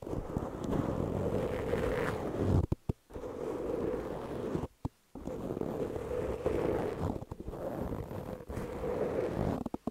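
A large, soft, porous black open-cell foam windscreen over a microphone is scratched at its sides with long nails and fingertips of both hands. The result is a dense, low, rumbling scratching texture centered around a muffled low-mid hum. It stops abruptly in short silent gaps near 3 and 5 seconds and again at the very end.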